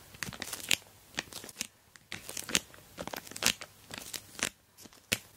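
Long black nails scratch and tap an orange plastic Temu mailer bag wrapped around a rectangular box holding a dual camera dash cam, while fingers spread and press the crinkly plastic. Irregular bursts of bright, crisp crinkling and crackling come with sharp, dry taps that die away almost instantly, with very little low end.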